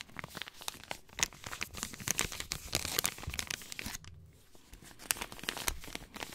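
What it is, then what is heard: Paper compress packet. A small, flat, light white paper sterile compress pouch with blue print is crinkled and rubbed with fingertips, giving dense, bright, crackling rustles with sharp tearing-like snaps. The crinkling briefly softens to a quieter rub around the middle, then picks up again with crisp pops.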